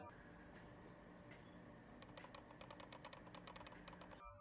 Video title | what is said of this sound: Mouse dengan banyak potensi! Dareu EM928 Review | Tetapi unit yang saya pakai saja sudah memiliki rattle. Bodinya sendiri pun memberikan suara rattle ketika dikocok.